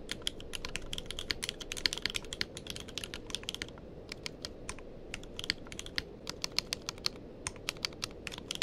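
Fingertips of both hands type continuously on a tenkeyless mechanical keyboard with plastic keycaps. Rapid, bright, sharp key clicks stop almost instantly and come in quick uneven bursts with a brief lull near the middle. Beneath them sits a steady, low background hiss.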